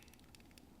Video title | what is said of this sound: Caran d'Ache 849 Fountain Pen Review | if you shake it you'll notice you can hear it wiggle